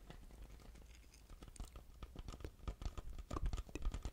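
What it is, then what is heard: Paper drink cup with plastic lid. Fingertips and nails tap and scratch a large, hollow white paper drink cup with a plastic lid and straw while it is held. The result is a quiet, irregular patter of short, dull, low taps mixed with light scratchy crinkling, growing somewhat louder toward the end.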